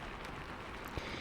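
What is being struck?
Nothing is struck.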